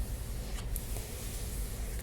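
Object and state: Nothing is struck.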